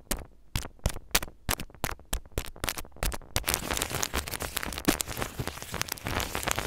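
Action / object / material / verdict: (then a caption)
scrape / crinkled aluminum foil sheet / aluminum foil / none. A crinkled square of aluminum foil on a table is scratched and rubbed with the head of a mini microphone while a fingertip holds the foil in place. The first half is a series of separate crisp, bright scratches, which then run together into continuous dense crackling and rustling.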